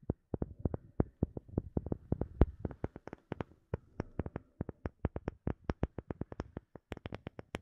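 Long fingernails tap a solid, palm-sized, light-colored round wooden disc with visible grain in a quick, uneven run of about 48 separate taps. Each is a short, dry click with a low, soft body that dies away almost instantly, over a faint low hum, all at a quiet level.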